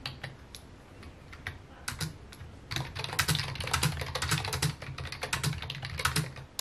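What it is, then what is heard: Plastic computer keyboard. Fingertips tap the keys of a full-size white and mint plastic computer keyboard with a hollow key housing, resting on a wooden desk. Sparse, irregular keystrokes give way after a few seconds to quicker, denser typing, each press a short, dry click with a bright top and a low, hollow thump underneath.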